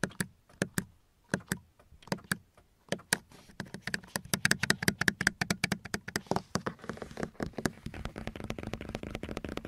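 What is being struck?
Molded plastic car door panel.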